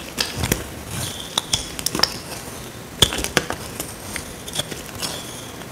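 A small metal blade scrapes a dry, solid, rectangular tan soap bar held in the hand, peeling off flakes. A series of short, dry, bright scraping clicks and crackles follows, with a high ringing edge near 3.5 kHz over a faint hiss, each stroke dying away almost instantly.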